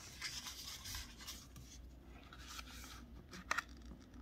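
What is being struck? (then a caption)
Thin wrapping paper sheet. Fingertips press and rub along the fold of a folded strip of thin pink Christmas wrapping paper with a snowman print, lying flat on a white table, to crease it. A quiet, bright, scratchy rustle of paper continues throughout. Two sharp, crisp paper snaps stand out near the end.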